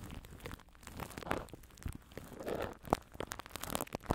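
Fingers scratch, rub and grip Saran Wrap plastic cling film wrapped over a microphone grille. The result is an irregular run of close, dry crinkling and crackling, with sharp crunchy snaps scattered among softer rustling.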